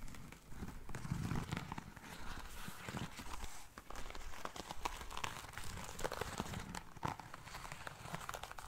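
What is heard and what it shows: Long nails scratch and tap across the lace upper and insole of a single black lace espadrille with a jute rope sole. The result is a steady, close stream of crinkly scratching and rustling, broken by soft, short taps over a low, muffled body.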